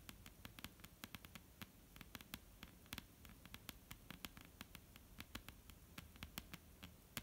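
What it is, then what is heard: Wooden table, solid. A flat, dark-brown solid wooden tabletop is tapped with the long, almond-shaped painted nails of both hands. About 37 quick, sharp taps land in an irregular patter. Each is a bright, dry click that dies away almost instantly over a faint low hum.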